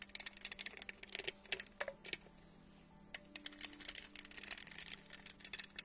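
Long acrylic nails tap and scratch a medium-sized hollow plastic tumbler covered in studs, with a lid and straw, held in one hand. Many quick, bright, clicky taps come in bursts, broken by a softer scratchy stretch in the middle, over a faint steady low hum. Each tap dies away almost instantly.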